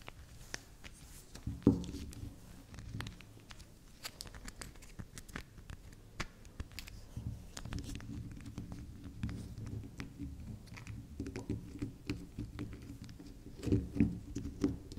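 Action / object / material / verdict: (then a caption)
scrape / bar of soap / soap / none. Long acrylic nails tap and scratch the top and sides of a small, solid, round, unwrapped pink-and-magenta swirl bar of soap held on a table. The result is a steady stream of soft, dry clicks and faint scraping, with a couple of louder, duller knocks near the start and end.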